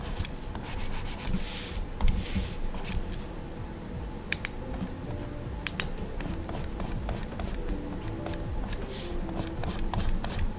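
A plastic stylus nib scratches and writes across the solid glass screen of a large Gaomon PD2200 pen display. Small scratchy strokes and sharp bright taps come at irregular intervals over a steady, quiet low rumble, with a brief louder scrape around two seconds in.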